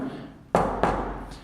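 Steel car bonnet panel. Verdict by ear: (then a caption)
Filled. Two dull knuckle knocks on the steel bonnet of a Triumph Spitfire, at a front crash area where a magnet would not stick. Each knock is a short, muffled thud with little ring, showing a thick layer of body filler (bondo) under the panel.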